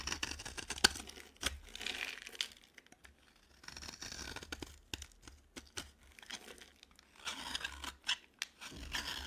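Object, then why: Bar of soap shaved with a blade. A utility knife blade scrapes and shaves a dry, green, palm-sized solid bar of soap in repeated strokes. Each pass makes a bright, dry, crinkly rasp, with short sharp scratches and clicks between the quieter pauses, over a faint low hum.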